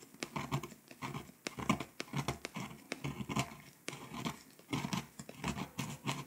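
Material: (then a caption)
Foil-coated paper. A pink plastic scraper tool scratches the foil coating off small countries on a flat, foil-coated paper scratch-off world map poster. Short, quick scraping strokes come in uneven bursts, each a dry, papery rasp with a faint crackle that stops almost at once.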